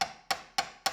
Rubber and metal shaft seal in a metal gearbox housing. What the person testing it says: you'll hear that'll be rubber, rubber, and then you hear a really solid thud